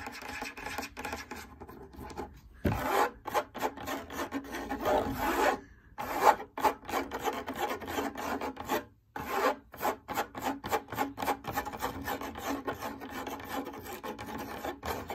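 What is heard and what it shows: Long nails scratch quickly across a large, lit, hollow cylindrical fabric drum lampshade. The result is a dense run of short, dry rasping strokes with a mid-range papery hiss and a faint bright edge, broken by brief silent gaps near 2.5 and 9 seconds. The overall level stays soft and close.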